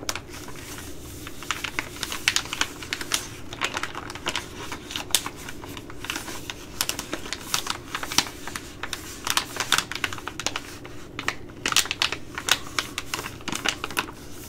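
A Ready Rice plastic laminate pouch is tapped and scratched with long glittery nails, producing a rapid stream of sharp, bright clicks and crinkly scratches. The short, dry taps come in uneven bursts over a faint, steady low hum.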